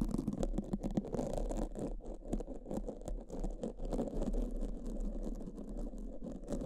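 Black foam microphone windscreens are brushed and scratched with pink silicone spoolies held in both hands. The result is a dense, continuous, muffled scratching and rustling, with rapid soft strokes concentrated in the low range around 200 Hz and little brightness. The level stays fairly steady throughout.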